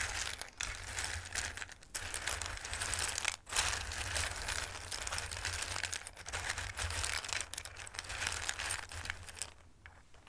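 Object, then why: Dried pasta pieces in a bowl. Handfuls of dried, Christmas-shaped raw pasta in a dark bowl are picked up and let fall, then rustled with fingertips. The result is a dense, bright, crisp rattling and crinkling with short pauses, over a steady low hum, and it thins out near the end.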